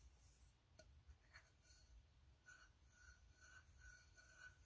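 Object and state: Empty ribbed tin can.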